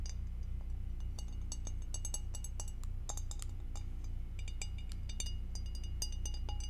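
Acrylic nails tap on a glass object, making a quick, fairly steady run of light, high clinks over a constant low hum.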